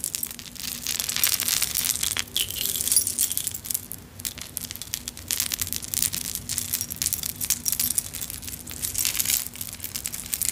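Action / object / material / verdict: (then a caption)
shake / clay charms on a metal chain necklace / clay, metal / none. A vintage necklace on a metal chain with small clay food and kitchen charms is dangled, shaken and gathered into the palm with long nails. The charms clink and jingle in a dense, continuous stream of bright, tiny ticks that die away almost at once. A faint steady low hum sits underneath.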